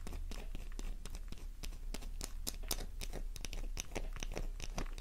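A worn, pink, flower-shaped bar of solid soap held in the palm is scratched rapidly with long nails, sending crumbs flying. Dense, crackly scrapes and short crisp ticks pile up quickly over a steady low hum, with bright, gritty high detail on each stroke.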